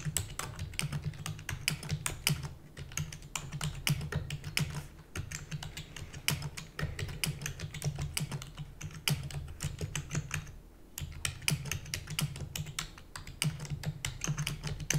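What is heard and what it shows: Long natural nails and fingertips type rapidly on a full-size black plastic computer keyboard with hollow keys. Dense, bright clicky taps run continuously over a steady low hum, with a brief lull about two-thirds of the way through.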